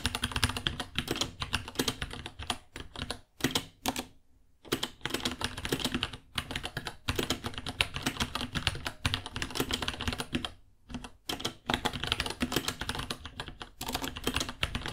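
Fingertips type steadily on a white 66-key mechanical keyboard, about 30 cm, with plastic keycaps, Gateron Brown switches and a hollow case. Rapid, bright clacking keystrokes come with a low hollow thud under them. They break off in brief pauses a little after 4 seconds and again near 11 seconds.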